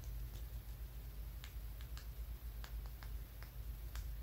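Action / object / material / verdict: tap / smooth flat stone / stone / none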